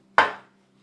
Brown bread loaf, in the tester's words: tap it on the center and there should be a hollow sound